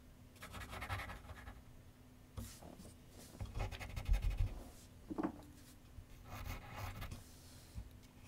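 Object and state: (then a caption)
Pencil shading on paper over a board. A pencil makes dense, scratchy shading strokes on a large white paper sheet mounted on a solidly backed board on a wooden easel. Bursts of bright, rasping scratching rise and fall in irregular runs over a steady low hum, with one short squeak in the middle.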